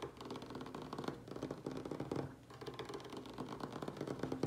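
A large, solid wooden tabletop is tapped rapidly with the fingertips and short nails of both hands. The result is a dense, continuous patter of short, dry knocks with a mid-pitched woody tone and almost no ring.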